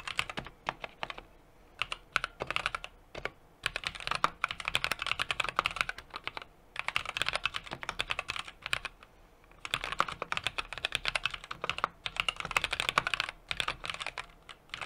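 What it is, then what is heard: Mechanical keyboard being typed on. Fingertips type continuously on a small 60% mechanical keyboard with an aluminum case, brass plate and plastic keycaps. Dense runs of short, crisp, bright clacks come in bursts separated by brief pauses, with very little low end and no ringing after each keystroke.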